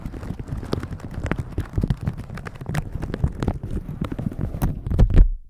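A thin, crinkly plastic shower cap with a pink pattern, stretched over a microphone, is rubbed and squeezed with red silicone scrubber gloves. A dense run of muffled crinkles and soft, short thumps builds to a louder squeeze near the end before cutting to quiet. The sound is heavy and low, with each contact dying away almost at once.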